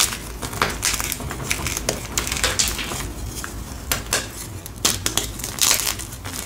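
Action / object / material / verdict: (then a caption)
scrape / gym chalk block (magnesium carbonate) / chalk / none. A single solid white palm-sized block of gym chalk (magnesium carbonate) is held in both hands and squeezed and crushed by fingers and thumbs over a pile of chalk powder. A steady stream of crisp, bright crunching and crumbling fills the clip, with sharper snaps standing out here and there. Each crunch dies away almost instantly.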